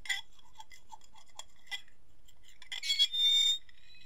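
Fingertips and fingernails tap and scratch the rim and surface of an empty white ceramic plate held tilted. A series of light, bright clinks leads into a louder rising scrape that rings with a high, steady tone before fading.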